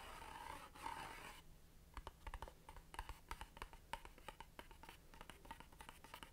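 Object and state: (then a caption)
Cardboard incense box tapped and scratched. Long dark nails scratch a long, narrow, hollow cardboard box of Satya Jasmine Blossom incense, printed red and white and held in the hands, making a soft, steady rasp. The scratching then gives way to a rapid, uneven series of short, dry taps with a hollow mid-pitched knock that dies away almost at once.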